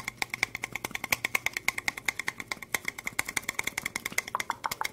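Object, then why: Small ribbed plastic cup. Long acrylic nails tap and scratch the sides of a small, clear, ribbed plastic cup, hollow and empty and held in the hands. About 45 quick, bright clicks ring briefly around 2.2 kHz with an instant decay, shifting to a lower tone of around 1 kHz near the end.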